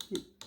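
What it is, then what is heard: Dry, cured acrylic nail overlay. An acrylic overlay on a fingernail is tapped three times after being left to dry, giving short, sharp clicks with bright high tones and very little ring. The crisp clicks show the acrylic is dry; an acrylic nail that is not dry gives a dull thump instead.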